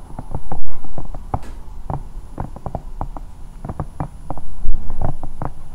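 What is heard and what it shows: A hand-sized, hollow, bear-shaped silicone night lamp standing over the mic is scratched and tapped with long painted nails. The result is a rapid, uneven patter of soft, dull, low thumps mixed with faint scratching. Each tap is bass-heavy and dies away almost at once.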